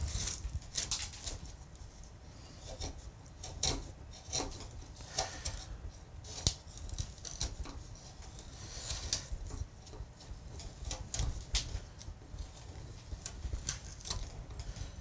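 A wooden-handled gouge held in the hand cuts and scrapes shavings from a large, solid, pale carved limewood relief panel. Short, crisp cutting and scraping strokes with bright, papery edges sound repeatedly over a low, steady rumble. Each stroke dies away almost instantly.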